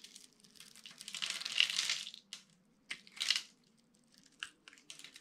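A metal utility-knife blade scrapes small cubes from a solid, dry, palm-sized orange bar of soap scored in a grid, and the cubes crumble onto a red surface. Bright, dry crunching and crumbling come in bursts, with a longer swell of scraping early on, then shorter crisp scrapes and small clicks. A faint low steady hum sits underneath.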